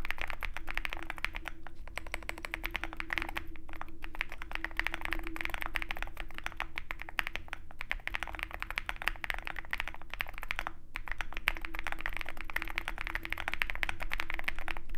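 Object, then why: Mechanical keyboard with metal case and plastic keycaps. Fingertips of both hands type steadily on a Zoom65 compact 65% mechanical keyboard with a dark aluminum case, white and pink plastic keycaps and foam filling. The result is a continuous stream of short, dry, bright clacks at a quick, uneven pace over a low, steady background rumble.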